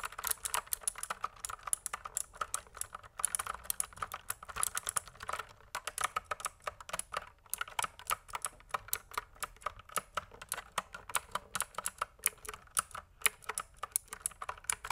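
A pink plastic mechanical keyboard is typed on with fingertips, giving a steady run of quick, dry, clicky keystrokes with bright, high clatter and almost no ring. The typing continues throughout with a brief pause partway through.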